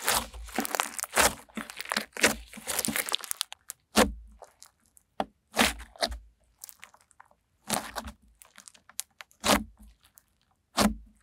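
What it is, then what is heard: Clear glitter slime. Translucent clear glitter slime is pressed under a palm, then poked and pressed with long-nailed fingertips. A dense run of sharp crackling and crunching pops fills the first few seconds, then gives way to separate bright, snappy pops with quiet gaps between them.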